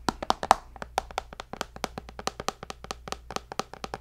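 A tablet's glass screen, held beside the mic, is tapped with fingertips and nails in a quick, uneven run of about two dozen separate taps. Each tap is a short, dry click with no ring, centered near 770 Hz with a bright edge on top. A faint low hum runs steadily underneath.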